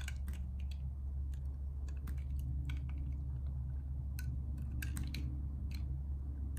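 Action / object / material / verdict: scrape / soap bar cut with a metal blade / soap / none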